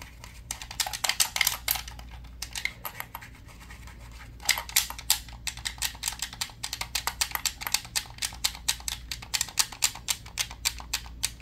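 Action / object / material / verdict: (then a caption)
scrape / plastic game controller / plastic / none. A hollow black plastic game controller held in one hand is scratched and tapped quickly with fingertips and nails across its body and buttons. Dozens of dry, bright clicks and scratchy strokes come in fast bursts, with a brief lull in the middle, over a faint steady low hum.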